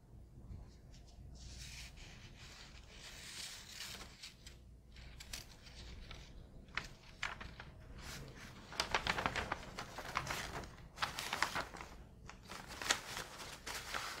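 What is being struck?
Newsprint newspaper.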